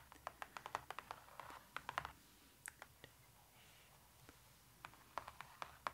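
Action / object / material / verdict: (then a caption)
tap / cardboard book page / glossy cardboard / none. Long nails and fingertips tap and scratch across the thick glossy cardboard pages of an open pop-up book with a raised dragon pop-up. Quick, sharp clicks come in busy clusters, broken by soft scratching and a quieter stretch before the tapping picks up again.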